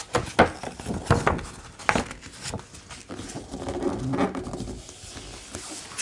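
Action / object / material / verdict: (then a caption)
tap / hardcover art book with glossy paper pages / paper / none. A large, open hardcover art book with thick, glossy paper pages has a page flipped with a crisp papery swish, followed by fingertips tapping the page surface in soft, dull pats. The tapping then gives way to a steady, low rubbing and brushing across the glossy paper, with a few faint taps near the end.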